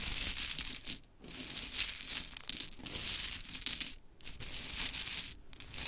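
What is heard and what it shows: Long chrome nails rake and pick through a pile of pink wooden mini clothespins resting on glitter fabric. Dense, bright clicking and clattering runs almost continuously, with short quiet breaks near 1, 4 and 5.5 seconds.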